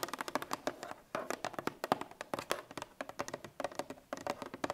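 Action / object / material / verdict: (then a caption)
tap / cardboard milk carton / cardboard / none. Long red nails tap rapidly on the top of a Parmalat 1 L cardboard milk carton lying on its side. The result is quick bursts of short, dry, hollow clicks with a midrange tone around 740 Hz, separated by brief pauses. The taps stop almost instantly, with no ringing.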